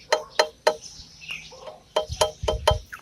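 A one-piece (integrated), rigid, non-floating metal brake disc is knocked eight times, giving short, bright metallic clinks with a clear tone around 620 Hz that die away almost at once. The solid, tight sound is normal for a one-piece disc, unlike a floating two-piece disc whose riveted joint leaves a small gap and gives a loose feel when knocked.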